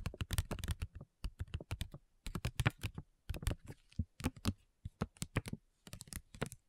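Long nails tap quickly on a flat, printed plastic-foil facial sheet mask pouch, making rapid bursts of around thirty short, dry clicks separated by brief pauses. Each tap is sharp with a soft, low-heavy body and almost no ring.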